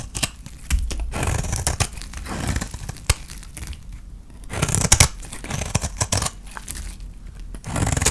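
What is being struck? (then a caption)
Soap bar. A utility knife blade scrapes fine flakes off the face of a palm-sized, solid white dry soap bar with purple painted edges, held in the hand. Repeated dry, crinkly scraping strokes with a bright, tearing texture come with sharp clicks and a low rumble underneath. The strokes die away almost instantly, with no ring.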